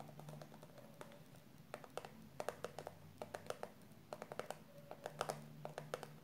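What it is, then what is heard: Plastic cosmetic tube tapped with nails. Long purple nails tap and scratch the printed surface of a yellow and pink soft plastic squeeze tube of hair conditioner, a post-coloring finisher filled with product. Quick, dry clicks land in irregular bursts over a quiet, soft scratching bed, each tap short with a hollow mid-pitched tone and almost no ring.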